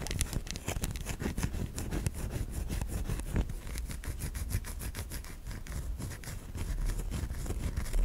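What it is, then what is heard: Bar of soap scratched with nails. A white solid bar of soap is held in the fingers while long nails scratch grooves along it. Quick, dry scraping strokes repeat steadily at an even level, each a short bright streak over a low, muffled background.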